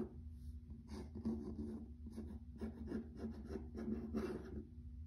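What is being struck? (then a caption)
Wood-look laminate floor. A fingernail scratches along the grain of a grey wood-grain laminate plank floor, making soft, dry rasping strokes in repeated bursts. Each scratch is a brief, faint rubbing sound over a low, steady hum.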